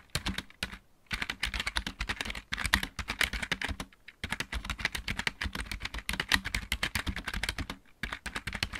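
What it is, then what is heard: Plastic mechanical keyboard. Fast typing with the fingertips of both hands on a full-size backlit mechanical keyboard with plastic keycaps produces a rapid, dense stream of bright, sharp clicks with short thocky low ends. The bursts are broken by brief pauses near 1, 2.5, 4 and 8 seconds, and faint music may be present in the background.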